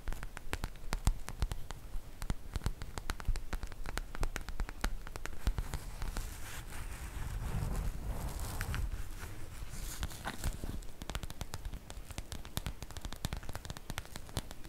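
Long nails scratch and rub a medium, soft printed cotton fabric makeup bag, a zip pouch with a multicolour sprinkle print and a pink zipper, held in both hands. A dense run of quick, dry scratches and small taps carries through, with a fuller, softer rustle of fabric swelling around the middle before the crisp scratching returns.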